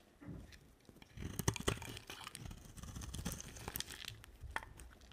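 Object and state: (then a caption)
Dry soap bar being shaved. A box-cutter blade shaves a solid green bar of dry soap, its scraping cuts peeling off layered slices. The result is a run of crisp, crunchy scrapes and crackles with bright edges over a low, soft rumble, with a few sharper snaps standing out along the way.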